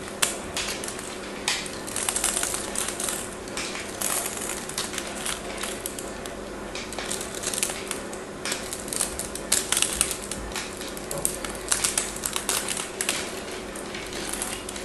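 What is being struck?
Bar of soap scraped with a craft knife.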